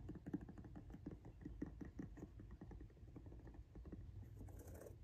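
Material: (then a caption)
Rubber. Fingernails scratch across the grooved tread of a pink rubber outsole on a Jordan 1 High "Washed Pink" sneaker held up in the air. The result is a quiet run of quick, dry scratchy ticks, heavy in the low end with a faint bright hiss near the end.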